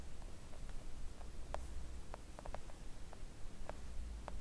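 Long coffin-shaped press-on nails tap on a flat, thin, solid pink silicone nail art mat lying on a table. Soft, short, dull clicks come at an irregular, gentle pace over a steady low hum, with no voice.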